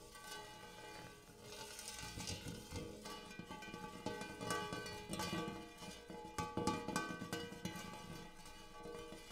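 Fingernails tap and scratch the dimpled inside of a large, empty, hammered brass-colored metal bowl. They make a steady run of quick, bright metallic taps with a ringing tone and short scratching textures.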